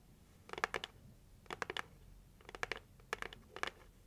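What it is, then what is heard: Cardboard gift box tapped with fingernails. Long white acrylic nails tap and scratch the closed lid of a hollow red heart-shaped cardboard gift box with gold swirl print, held against the chest. Five short bursts of quick, dry clicks and scrapes, each ringing out almost instantly, carry a papery mid-range tone around 1.7 kHz with bright edges. Quiet pauses separate the bursts.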